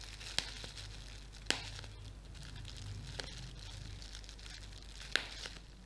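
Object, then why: Plastic bubble wrap sheet. A clear, thin, flexible plastic bubble wrap sheet with air-filled bubbles is held in both hands and crumpled and squeezed with fingertips and painted nails. A soft, steady crinkling hiss runs throughout over a low background hum. Four sharp, bright snaps stand out from it, each cutting off almost instantly.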